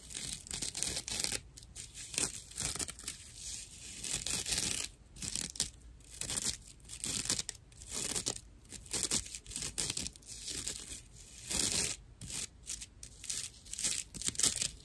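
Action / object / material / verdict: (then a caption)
scrape / natural loofah sponge, plant fibre / plant fibre / none. Long nails scratch across the surface of a dry natural loofah sponge, a fibrous plant material with hollow channels. The result is a dense, bright, rough rasping and scratching in quick bursts, with short pauses between strokes.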